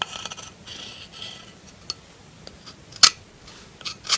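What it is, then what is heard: Bar soap scraped with a knife. A metal knife blade scrapes the surface of a solid pink bar of soap held in the hand. It makes crisp, bright, dry scraping strokes with almost no low end, separated by quiet pauses. Each stroke dies away almost instantly.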